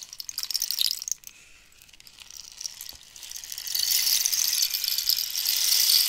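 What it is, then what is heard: Cactus wood rainstick. A long, hollow dried-cactus wood rainstick with pellets inside is tilted and shaken by hand, while long nails scratch and tap the wood. Bright, crackly rattling comes in short bursts at first, then drops to a faint trickle. It builds into a steady, high, hissing cascade of pellets, like rain.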